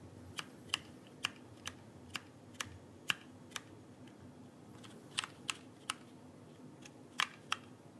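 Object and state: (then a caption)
Plastic keyboard keycaps tapped. Fingertips tap the plastic keycaps near the lower end of a backlit mechanical keyboard held upright beside the microphone. Fourteen sharp, bright clicks come in two loose clusters separated by a pause, each dying away almost instantly over a faint steady hiss.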